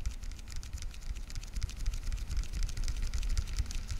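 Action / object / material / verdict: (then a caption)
tap / plastic weekly pill organizer tapped with fingernails / plastic / none. Long nails tap rapidly on the lids of a translucent blue plastic weekly pill organizer with SMTWTFS lids and hollow compartments, held in front of the microphone. The result is a quick, uneven stream of short, bright plastic clicks over a steady low rumble.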